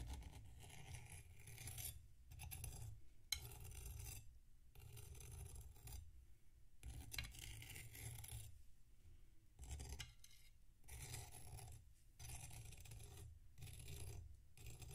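A metal knife scrapes the edge of a solid packed sand block resting on a plate while one hand holds the block steady. Short bursts of gritty, rasping scraping come and go with brief pauses between them, carrying a heavy low rumble under a bright, sandy hiss.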